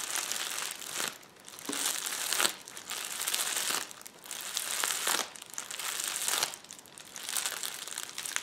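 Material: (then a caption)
Plastic. A roll of clear plastic bubble wrap rests on a table while fingertips tap, press and scratch across the bubble surface. The result is dense, bright crinkling and crackling that comes in uneven waves, separated by brief quieter dips, with almost no low end.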